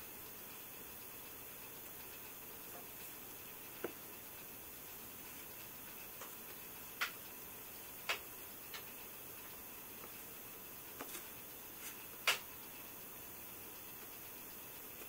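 Fingertips tap and press the glass touchscreen of a silver iPhone lying flat on a white table. Sparse, irregular, very short, bright tick-like taps sound over a quiet, steady hiss, with the loudest tap near the end.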